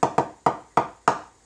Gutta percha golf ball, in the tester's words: Now if I tap that, you'll hear that it's actually cooled quite a lot.